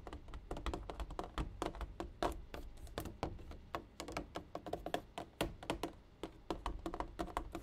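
A water jug is tapped repeatedly in a quick, uneven series of short, dull knocks. Each tap has a hollow low-mid tone and dies away almost at once.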